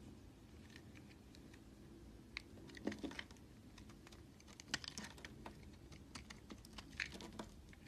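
A red utility knife scrapes dry flakes off the edge of a solid white oval bar of soap held in the hand, while a second bar sits idle behind it. The scraping comes as quiet, dense, crisp clicking and crackling over a low steady rumble, with a few sharper bright ticks that stand out and stop almost instantly.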